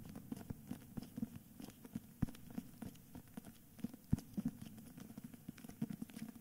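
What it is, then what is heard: Hardcover book with paper dust jacket. A medium hardcover copy of *Meistererzählungen* in a cream paper dust jacket is held upright in both hands while fingertips and nails tap and scratch its solid cover. Quiet, dull, low-pitched taps come at an irregular pace with no ring, mixed with soft, brief, scratchy rustles of the paper jacket.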